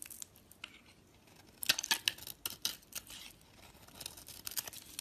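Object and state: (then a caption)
Bar of soap being shaved. A hand with long nails holds a solid white bar of soap with remnants of a purple wrapper while a metal utility-knife blade scrapes across its surface and shaves off curls. The sound is a series of crisp, bright, dry scraping and crackling strokes, loudest in a cluster near the middle, with almost no low end. Each stroke ends abruptly with no ring.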